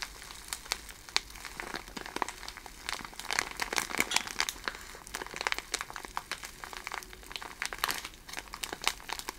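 A handful of loose, iridescent plastic cellophane gift shred strands, taken out of the bag, is crinkled and rubbed between the fingers. It makes a steady, dense crackle of sharp, bright snaps and rustles across the whole clip, with almost no low end.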